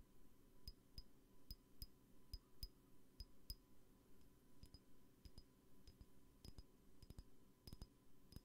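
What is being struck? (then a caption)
Small glass perfume bottle tapped with fingernails. A small glass perfume bottle with a brown label and metal cap, held in one hand, is tapped with long painted nails. About twenty quiet, short, bright clicks come at an uneven pace, each with a faint high glassy ping. A low steady hum sits underneath throughout.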